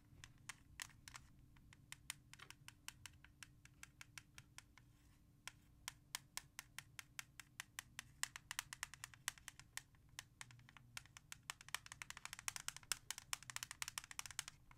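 Long nails tap fast on the back of a hollow plastic CD jewel case with an orange cover, lying on a surface. Dozens of sharp, bright, short clicks ring out over a faint steady low hum, growing denser and brighter near the end.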